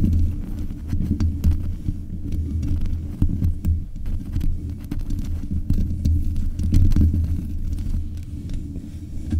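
Long nails tap the metal mesh grille on the head of a black USB condenser microphone in a thumping rhythm. The result is a steady run of deep, muffled thuds centred low around 90 Hz, with a heartbeat-like throb and almost nothing bright above it.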